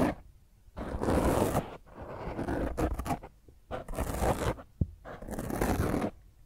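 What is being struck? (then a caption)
Foam microphone windscreen. Long fingernails scratch across the top of a black, soft, porous foam microphone windscreen, making rough, crackling scrapes in repeated passes separated by short quiet gaps. The scratching is close and full-bodied with a low rumble, and a brief sharp tap stands out near the end.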